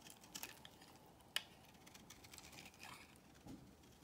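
A solid beige bar of soap, held in the hand, is scraped and cut with a box cutter blade, making quiet, bright, crisp scratching and light ticking sounds. One sharper click stands out near the middle, and the clip ends with a few softer scrapes.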